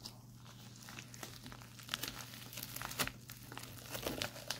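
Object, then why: Plastic instant cold pack. Fingertips scratch, press and tap the crinkly film of a white printed plastic instant cold pack held flat. Soft, irregular crinkles and bright scratchy crackles rise and fall, with sharper taps standing out over a steady low hum.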